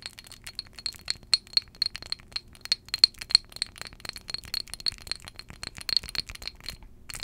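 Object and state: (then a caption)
Glass perfume bottle. Long jeweled acrylic nails tap rapidly and irregularly on a small glass perfume bottle filled with amber liquid, held close to the microphone. Each tap gives a quick, bright glassy clink with a high ringing tone that fades almost at once. The result is a steady stream of light, chime-like clicks with almost no low end.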